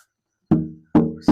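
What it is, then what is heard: Resonant rosewood guitar back. Three taps on the back of a handmade guitar made of old-growth Brazilian rosewood each bring out a warm, ringing low-mid tone that fades smoothly between strikes. The back resonates clearly, a good sign it will be a good-sounding guitar.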